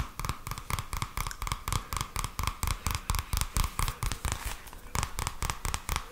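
A purple paperback book with a card cover is held in both hands while fingertips tap and scratch the cover, then the edge of the pages. About 25 quick, dry taps come in an uneven rhythm, each with a low, soft thump, a papery mid tone and a brief bright scratch that dies away almost at once.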